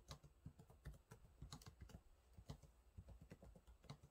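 Fingertips type on the low-profile plastic keys of a silver laptop keyboard, producing a quiet, steady run of short taps. Each keystroke is a soft, dull thud with a faint bright click on top, dying away almost instantly.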